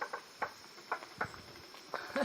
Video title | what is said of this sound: Corona - Stuck in Colombia - Week 85-88 | knock it knock on it see this is it ... sounds very hollow doesn't it